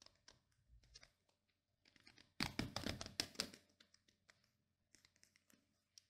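Short painted nails scratch and flick across the black plastic pin bristles of a pink plastic paddle hairbrush held face-on. Quiet, bright crackling flicks build into a dense, louder burst of scratching in the middle before returning to sparse, soft ticks.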